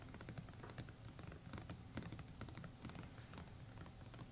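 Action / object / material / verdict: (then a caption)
tap / cloth-covered board hardcover notebook / board / none. Both hands rapidly tap the fingertips and short nails on a closed A5-size hardcover notebook, its textured, embossed red paisley cover (likely covered board) solid with pages behind it, lying flat on a map. It makes a quiet, uneven patter of dull, low thuds with faint clicky edges that die away almost at once.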